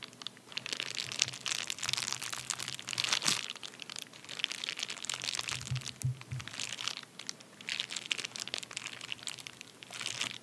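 A medium white padded paper bubble mailer lying on a towel is scratched and pressed with the fingertips and short nails of both hands. Dense, bright crinkling and crunching come in waves of rapid scratchy bursts, with short pauses between them.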